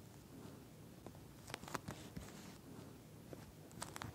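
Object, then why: Plastic gel bead eye mask. Long nails tap and scratch the bead-filled surface of a pink, flat eye mask whose clear plastic shell holds small gel beads, lying on a dark surface. Soft, scattered clicks and light scraping crackles rise over a low, quiet rustle, with a few sharper taps near the middle and the end.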